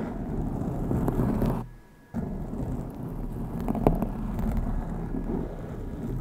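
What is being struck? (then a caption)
Foam microphone windscreen. A black foam windscreen covering the top of a Blue Yeti microphone is scratched and rubbed with long acrylic nails on both hands, and the soft, porous foam gives a dense, low rumbling scrape. The sound drops out almost entirely for about half a second near the middle before the rubbing resumes, with a few brighter scratch accents throughout.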